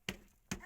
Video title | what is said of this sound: ✿HAYVANLARIMIZA KOCAMAN EV YAPTIK!!✿SONUNDA KÜMES BİTTİ!!!✿HAYVANLAR BURDA MİS GİBİ YAŞAR!!✿ | bakın vuruyor Bu da taş gibi oldu